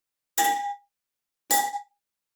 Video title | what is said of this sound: Complete 32k Kms (20k Mile) Service – Twin Cam (1999 – 2016) Touring Model Road King | that ting sound, and if it was kind of like a clunk or a tong and it had a different tone, it might indicate there's an issue